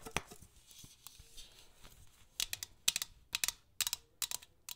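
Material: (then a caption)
Metal. Long acrylic nails tap and scratch a tall, hollow, painted metal tin shaped like a nutcracker soldier, lying on its side on a red cloth with its contents unseen. Soft, faint scratching at first gives way to a run of sharp, bright, clicky taps with almost no ring, mostly high in tone.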